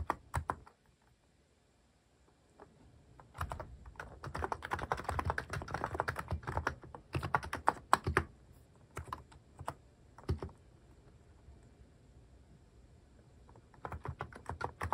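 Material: Plastic.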